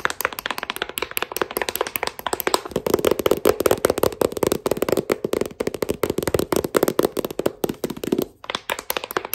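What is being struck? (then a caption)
Thick paperback book tapped with metal thimbles. A thick, solid paperback novel with a glossy cover is tapped on its cover and spine by fingers wearing metal thimbles. Dozens of quick, dry taps follow in a steady, rapid pattern, each dying away almost instantly with a bright, clicky edge. A hollow mid-toned resonance around 400 Hz comes through from about 2.7 to 8.3 seconds before the taps thin out.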